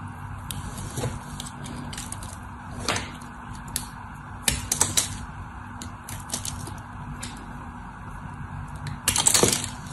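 A solid white bar of soap held in the hand is carved and scored with a craft knife, with shavings falling away. Soft, bright scraping and short crackly cuts run over a faint steady low hum. The strokes grow louder near the middle and end.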